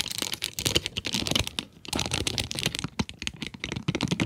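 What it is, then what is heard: Cardboard pencil box with plastic window. Long nails tap quickly on the plastic window and cardboard sides of a cardboard pencil box. The result is a dense run of short, bright, dry clicks with almost no ring, briefly thinning out near the middle before the tapping picks up again.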